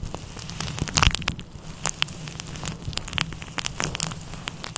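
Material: Synthetic fur.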